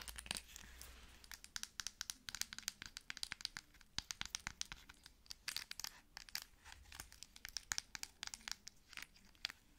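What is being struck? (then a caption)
Plastic cosmetic squeeze tube. Long nails tap and scratch the body and cap of a plastic cosmetic squeeze tube. Dozens of quick, dry, bright clicks come in uneven bursts, mixed with light scratchy rasps. The sound stays quiet and close, with almost no ring after each tap.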